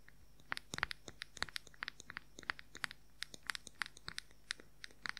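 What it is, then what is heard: Plastic powder compact. Fingernails rapidly tap and scratch the lid of a round, white, palm-sized hollow plastic makeup powder compact. About thirty sharp, dry, bright clicks land in an irregular quick rhythm, each dying away almost instantly, with faint scratchy crunching between them over a quiet low hum.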